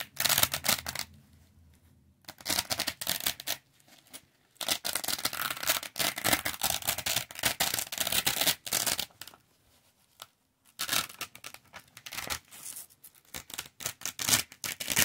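Fingertips press a small, lightweight, flexible yellow square with a hook-and-loop backing onto a large, thin, solid, flat dark grey felt loop-fabric board, dragging it across and peeling it off. Bursts of bright, crackling, tearing rasps come and go with short quiet gaps, the longest stretches of ripping lasting several seconds.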